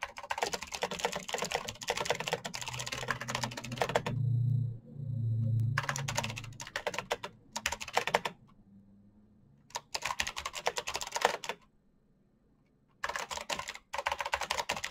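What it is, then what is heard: Plastic mechanical keyboard. Fingertips type fast on a full-size black plastic Razer mechanical keyboard with clicky green switches and RGB backlight, producing dense bursts of sharp, bright clicks. The bursts are separated by short pauses, with two low humming swells near the middle and a near-silent gap just before the typing resumes at the end.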